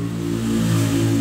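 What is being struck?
Nothing is struck.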